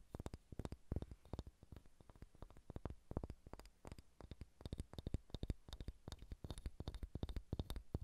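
Long red-painted nails tap and scratch a large, solid, unfinished wooden sphere held in both hands. The result is a quiet, rapid, uneven patter of soft, dull knocks that stop almost instantly, with a low thump and faint bright ticks at each contact.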